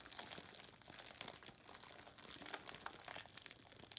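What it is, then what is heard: Plastic-wrapped loofah sponge. A hand-sized, light, porous rectangular natural loofah sponge, sealed in clear plastic wrap with a paper label, is held wet over a soapy sink and squeezed and scratched by hands with long metallic-painted nails. The plastic gives a steady, quiet, bright crinkling and crunching with sharp little snaps and almost no low end, with perhaps a faint wet, liquid edge.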